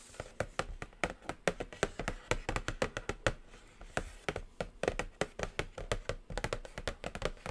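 Long acrylic nails tap and scratch a flat, hollow black cardboard eyeshadow palette box up close. Dozens of quick, dry, hollow taps sound in an uneven, continuous rhythm, each with a mid-pitched body and a sharp, bright click that dies away almost instantly. Soft scratching fills the gaps between taps.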